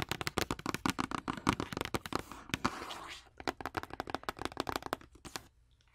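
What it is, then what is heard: Cardboard box. A long, hollow, rectangular printed cardboard wax paper box, held upright in a hand, is tapped and scratched along its faces with long orange acrylic nails. Fast, dry, clicky taps with a hollow low body run throughout, broken around the middle by a short, bright scratching rasp. The tapping resumes and then stops, leaving near silence at the end.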